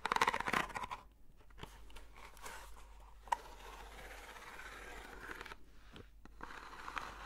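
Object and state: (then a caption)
Corrugated cardboard box being scratched. Long nails scratch a long, hollow, textured corrugated cardboard box, held horizontally and then upright. A loud, crunchy scraping burst opens the clip, then settles into a steady, soft, papery scratching with a single sharp tick partway through.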